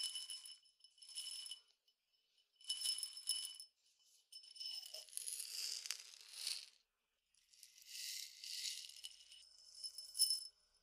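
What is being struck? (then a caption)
Glass tumbler partly filled with peppercorns. A clear glass tumbler partly filled with peppercorns, small dry grains, is held in hand, shaken and tapped with fingertips. The result is bursts of bright, crisp rattling and ticking with no low end, separated by short silences, with longer, denser shaking toward the end.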